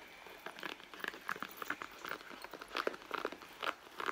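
Fingertips and long nails scratch and rub the front leather panel of a red soft leather handbag lying flat on a mat, hollow and apparently empty. The result is a quiet, steady run of short, dry scratching and tapping bursts with a crinkly midrange texture and almost no low end.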